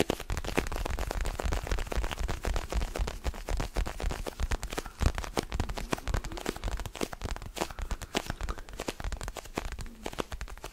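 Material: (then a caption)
Rubber. Fingernails and fingertips rapidly scratch and tap an orange mini basketball with a pebbled rubber surface, held in both hands close to the microphone. The result is a dense, steady stream of short, dry crackling clicks over a soft, low thudding body, with brief scratchy rustles between the taps.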